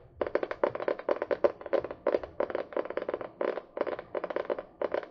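A small spiral-bound notebook with a card cover, held upright, is tapped and scratched with long fingernails. It gives quick, dry, papery clicks in uneven bursts with a hollow mid-pitched tone around 570 Hz and almost no ring.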